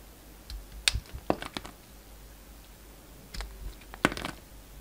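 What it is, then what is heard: Bar of soap being sliced. A solid rectangular bar of soap with an orange shell and a black-and-white striped interior is held in the hand while its surface is sliced off with a yellow utility knife blade. Short, crisp scraping and cutting clicks come in two clusters, with bright, dry snaps that die away almost instantly over a quiet background.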